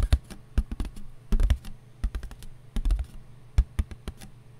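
A paper plate is tapped with the fingers in quick, irregular bursts of many taps. Each tap is dull and papery, with most of its weight in the low end and almost no ring after it.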